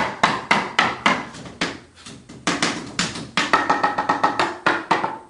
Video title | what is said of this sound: DIYBldgnPest 15Mar12v1 | You can hear there's all different sounds and hollow boards there.